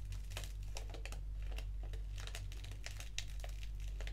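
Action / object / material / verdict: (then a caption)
scrape / foil-lined paper tea sachet handled with fingernails / foil paper / none. A small, flat, black foil-lined paper tea sachet (Organic English Breakfast) with a tea bag inside is held in the fingers and crinkled and scratched with long acrylic nails. Quick, irregular bursts of bright, crackly crinkling and scratching run throughout over a steady low hum.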